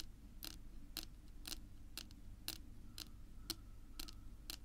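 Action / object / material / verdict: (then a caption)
tap / wooden tabletop / wood / none. Long pink nails tap slowly on a flat, solid dark wood-grain tabletop. Each tap is a short, dry click with almost no ring, repeating at a steady pace of about two per second over a low background hum.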